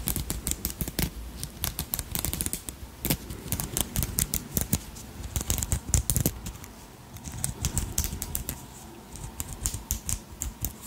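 Long nails tap and scratch over the beaded body and wings of a palm-sized dragonfly brooch made of beads, purple crystals and metal wire, held in the hand. Rapid, dry, bright clicks come in dense clusters that stop almost instantly, with quieter scratchy stretches in between.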